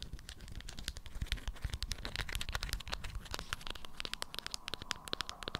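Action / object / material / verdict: scrape / waxed cotton wrap around a small object / waxed cotton / none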